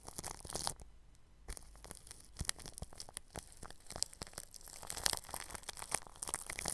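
A bristle paintbrush rubs over clear plastic cling film stretched across a round microphone grille. It makes dense, bright, crinkly scratching and crackling with a brief quieter pause near the start. The clicks stay sharp and dry, with no ring after each stroke.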